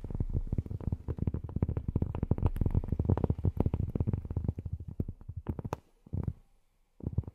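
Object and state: Cork tapped with fingernails.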